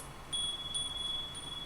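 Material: Copper.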